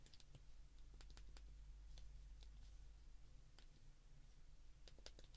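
Thumbs repeatedly press the keypad buttons of a handheld white plastic flip phone, each press making a clear, short, bright click. The clicks come at an uneven pace over a steady low hum.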